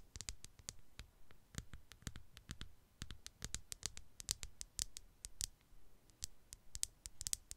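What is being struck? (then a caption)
Smartphone, glass and plastic body. A black smartphone with a hard glass back and plastic body, held flat against a foam microphone, is tapped and scratched with long, dark, polished nails. A quiet, rapid, uneven run of sharp, bright clicks with almost no ring is heard, each with a soft low thump beneath it and faint scratching between the taps.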